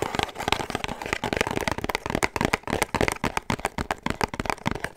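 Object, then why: Small rigid cardboard box. Long manicured nails rapidly tap and scratch a small, hollow, rigid pink cardboard perfume gift box with a black ribbon and wax seal, held in the hands. The result is a dense stream of crisp, dry clicks and papery scratches with a hollow midrange knock and almost no ring.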